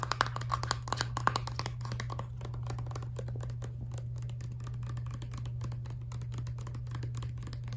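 Long dark nails tap fast on a filled Crest Scope toothpaste tube of laminate plastic held horizontally. Dry, clicky taps with almost no ring land loudest in the first two seconds, then settle into a rapid, softer patter. A steady low hum runs underneath throughout.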